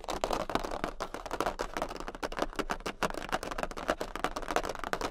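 Long pink nails on both hands tap quickly across a large, thin, tilted jumbo cardboard Queen of Hearts playing card. The result is a dense, continuous run of dry, papery clicks centered in the midrange. Each click dies away almost instantly, over a faint steady low hum.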